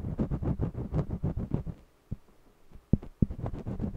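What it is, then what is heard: Cotton canvas being coloured with wax crayon. A red jumbo wax crayon scratches and rubs across the textured surface of a small stretched cotton canvas on a mini easel while coloring. The result is a quick run of dull, low, scratchy strokes that pauses briefly, broken by a few sharp isolated strokes, then resumes its steady back-and-forth rubbing.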